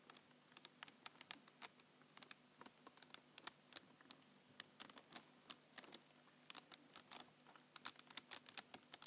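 Fingertips press and tap the lower keys of a black plastic computer keyboard. A quiet, irregular run of short, dry, bright clicks comes in quick bursts with brief pauses, each click stopping almost instantly.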